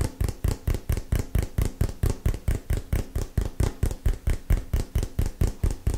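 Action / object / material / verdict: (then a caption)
tap / small cardboard box / cardboard / none. A small, hollow, printed cardboard retail box is held in both hands and tapped with the fingernails. About two dozen rapid, fairly steady taps give dull, hollow, low thumps that die away almost at once.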